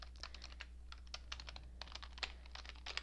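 Long painted nails and fingertips type rapidly on a cream-coloured plastic computer keyboard with hollow keycaps. The quick, uneven taps are short, dry and bright-edged clicks, over a steady low hum.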